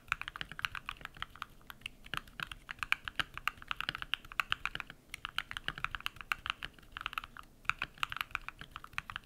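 Bare fingertips type rapid key presses on a compact modded mechanical keyboard with lubed switches and white PBT plastic keycaps. A dense stream of short, dry clacks with a bright, crisp character and little low end, with brief pauses near 5 and 7.5 seconds.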